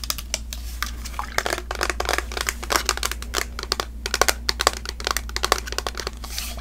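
Long nails rapidly tap and scratch a tall plastic fragrance mist bottle with a glitter print and a spray cap, partly full of pink liquid. The result is a dense run of sharp, bright clicks and crinkly scratches over a steady low hum.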